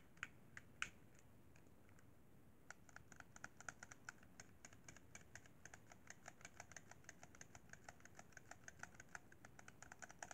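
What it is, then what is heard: Plastic game controller. Fingertips tap the shoulder bumpers and top edge of a hollow white plastic Xbox 360 controller. A few scattered taps come first, then after a short pause a steady run of quick, dry plastic clicks with a bright edge and no ring continues to the end. Each click stands out above a faint, constant low rumble.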